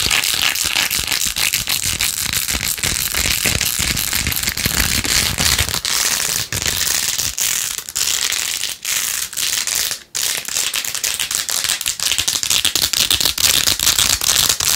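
Long nails scratch fast across a plastic phone case with a phone inside, covered in pink faux-pearl beads. The result is a dense, bright, crackling clatter that runs almost without a break, with only a few brief dips in loudness.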